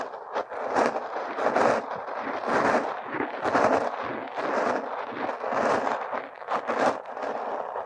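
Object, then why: Kinetic sand scraped with a metal pick. A metal hook pick scrapes purple kinetic sand packed around a silicone nose, digging near the nostril. Soft, gritty scraping strokes come in uneven bursts, each a crumbly, mid-toned rasp that fades quickly between strokes.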